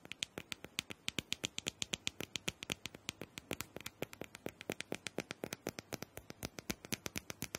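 A small hollow plastic dome massager is held in one hand while fingernails quickly tap and scratch its smooth plastic top. About 59 sharp, bright clicks follow in a fast, steady rhythm, each dying away almost instantly over a faint scratchy hiss.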